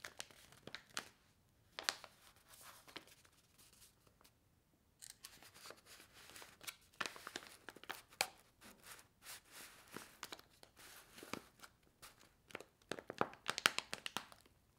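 A bundle of small, filled paper-foil instant soup sachets is held together by a rubber band and held in the hand, while fingers with long nails squeeze and riffle the sachet edges. The result is quiet, bright, crisp crinkling in short bursts, with a brief pause near the middle.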